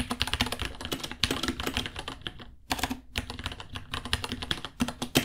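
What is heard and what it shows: Both hands type with their fingertips on a small white 66-key mechanical keyboard with Gateron Brown switches, white plastic keycaps, a hollow case and pink underglow, resting on a white desk. A rapid, steady stream of clacky key taps, bright with a hollow lower body, breaks off for a brief pause near the middle before resuming.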